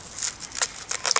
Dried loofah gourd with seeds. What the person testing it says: If I shake this, you'll hear there's actually seed also in it.